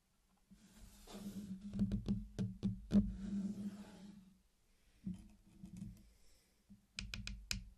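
Fingertips tap and push along the edge of a flat circular mosaic of many small, solid candy-coated chocolates laid on a black surface, making hard, dry clicks. The sharp taps come in quick, uneven bursts over a soft, low rubbing hum, pausing briefly before a final cluster of bright clicks.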